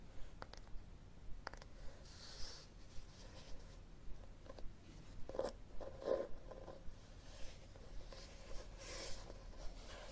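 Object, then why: Cloth-covered hardcover book. A red cloth-covered hardcover book is held and then laid flat on a table while fingertips tap and scratch its cloth cover. Quiet, dull taps with a faint tone near 535 Hz come at an uneven pace, mixed with brief, bright, dry scratching sounds over a low, steady background.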